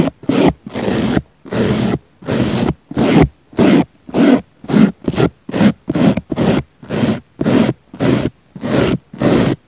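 A small black brush brushes and scratches the surface of a round, solid, soft pink foam sponge in 18 separate strokes. Each stroke is a short, breathy, scratchy rasp with a low body and a hissy top, separated by brief silences at an uneven pace.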